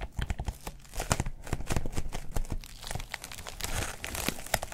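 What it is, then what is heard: Foam wrap sheet being crumpled. A thin white textured foam wrap sheet, folded over an item, is crumpled and rubbed with fingertips. It makes a dense run of soft crinkling and crunching rustles with a heavy low thump to each squeeze, little high-end hiss, and very short decays, swelling and easing as the hands work the sheet.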